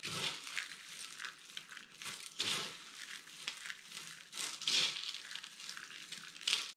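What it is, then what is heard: Dry soap chips being crushed. Two hands with long painted nails scoop, squeeze and press down into a loose pile of small dry spiral soap flower flakes and chips in green, pink, orange and white on a dark mat, crushing and rubbing the brittle solid soap pieces. The sound is a dense, bright, crisp crunching and crinkling, almost entirely high-pitched with little low end. It comes in irregular louder bursts over a steady gritty rustle.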